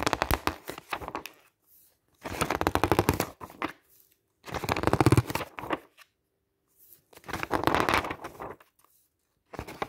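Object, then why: Glossy paper magazine. Fingertips quickly riffle and flip through many pages of a glossy paper camping guide magazine lying open on a table. Four bursts of rapid, crisp paper flutter and rustle, with bright edges, are separated by short silences, and a final burst begins at the end.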